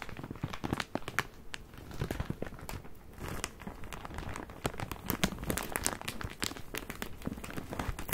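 A full plastic bag of cotton pads is squeezed, crinkled and scratched with fingertips and nails while being turned in the hands. The clip is a dense stream of crisp crackles and sharp, bright plastic snaps over a soft rustling body, with short, quick-fading clicks throughout.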